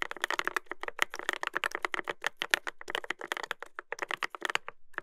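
Fingertips type continuously on a Dolphin 2021 mechanical keyboard with a brass plate and plastic keycaps, producing a fast run of sharp, dry clicks and clacks. The keystrokes have a bright, midrange-centered tone with little low end, and each one decays almost instantly.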